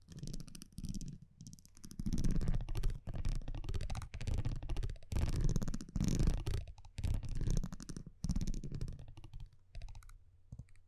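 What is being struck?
Thin printed cardboard trading card tapped with metal tweezers.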